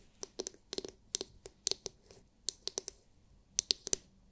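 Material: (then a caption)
Hard plastic. Long nails tap rapidly on the hard, clear, glitter-filled plastic dome of a palm-sized oval massage brush. The result is irregular bursts of short, sharp, bright clicks that die away almost instantly, with near silence between them.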